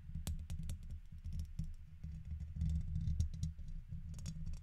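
A red plastic guitar pick scratches and taps its tip across the hollow woven steel mesh dome grille of a fist-sized silver condenser microphone. Dense, muffled scratching and rapid tapping come through, boomy and heavy in the low end, with short bright clicks standing out now and then.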